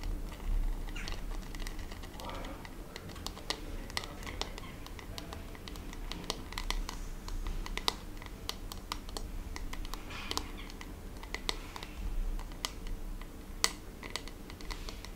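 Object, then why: Plastic paddle hairbrush. A hand-sized, hollow-backed, blue glittery plastic paddle hairbrush is held in one hand while long red-painted nails tap and scratch its textured back. The result is a dense run of quick, crisp, bright clicks with soft scratchy passes between them, over a steady low background rumble.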